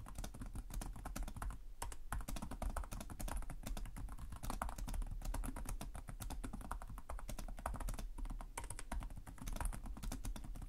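Fingertips with short nails type continuously on the plastic chiclet keyboard of a black laptop resting on a desk. Rapid, closely spaced key taps form a steady stream of short, dry clicks with a soft low thump under each press and a light bright edge, barely ringing after each tap.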